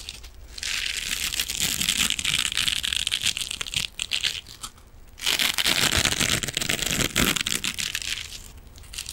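A rectangular silver metallic mesh scrubbing sponge, held in front of the microphone, is scratched with fingernails. The result is a dense, bright, crinkly scratching that comes in two long bursts with a quieter pause between them.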